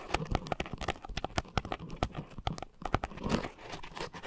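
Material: Foam.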